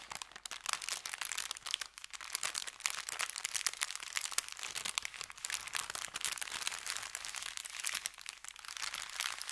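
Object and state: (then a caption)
Paper bag being crinkled. Fingertips press and rub an empty, thin kraft paper bakery bag folded into a strip on felt, crinkling it. A dense, steady stream of bright, dry crackles and crunches runs the whole time, with no low rumble beneath it.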